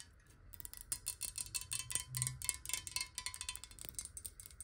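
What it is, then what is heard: Glass water bottle. Long nails tap rapidly on a clear square glass bottle, partly filled with water and held sideways. The result is a quiet, uneven stream of bright, glassy clicks, each with a very short chime-like ring over a faint low rumble.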